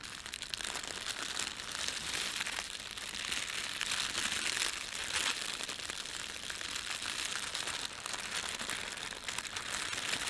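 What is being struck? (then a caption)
Thin plastic bread bag. A thin red printed plastic bread bag layered over a white plastic bag is pinched, rubbed and crumpled between fingertips. A steady, dense crinkling with bright, high-pitched crackle and almost no low end continues for about ten seconds.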